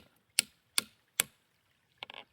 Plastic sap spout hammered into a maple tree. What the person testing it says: as you drive it in you hear Tink Tink Tink Tonk